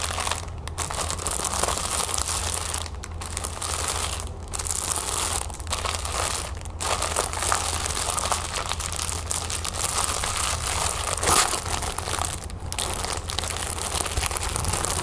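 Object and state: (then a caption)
Plastic-wrapped canvas pouch being crinkled. Fingertips and nails press, rub and scratch a flat canvas pouch with a crown print that is still in its clear plastic wrapping. Dense, bright crinkling and scratching runs throughout, broken by a few brief pauses, over a steady low hum.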